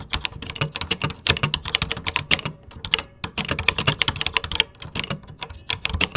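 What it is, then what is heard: Plastic computer keyboard. Fingertips type quickly on a vintage 1980s plastic computer keyboard with cream plastic keycaps. Dense, bright, clacky keystrokes run with very short decay and a light low thump beneath them. A brief pause about halfway through is followed by steady typing again.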